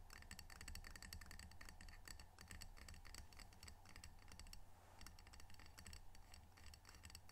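Fingernails tap rapidly on the glazed face of a small, solid, square ceramic tile coaster printed "Edmonds Washington," held in both hands. A dense stream of quick, bright, dry clicks runs over a steady low hum, with a brief pause just before the five-second mark before the tapping resumes.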